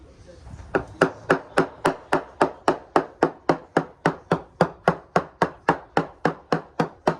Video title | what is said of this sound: How To Spot A Wet Balsa Core Boat Hull | a very crisp sounding uniform return so the there's very little variation in the sound we're getting